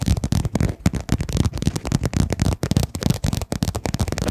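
A hollow, soft-sided padded fabric pencil case, a pink quilted zip pouch held upright in front of the mic, is tapped and scratched with long dark-painted nails. The result is a rapid, uneven stream of soft, dull, low thumps mixed with light scratchy rustling, each tap dying away almost at once.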